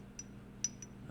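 A handmade pottery shot glass with a Batman face, made by a local artist, is tapped three times. Each tap gives a short, bright, high clink that dies away almost at once, over a steady low hum.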